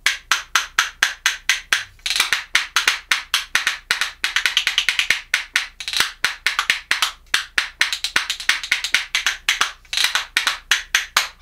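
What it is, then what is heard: Cherry wood percussion spoons. A pair of solid shurizakura cherry wood percussion spoons, held in one hand, is clacked rhythmically against the hand and knee. The result is a steady run of bright, dry wooden clicks with quick, fast-decaying attacks. Bursts of rapid rolls are woven into the beat.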